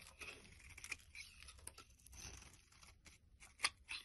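A knife blade scrapes and cuts flakes from a pale green solid bar of soap held in the palm. The soft, bright scraping is broken by crisp little cuts, with the sharpest, loudest slice near the end.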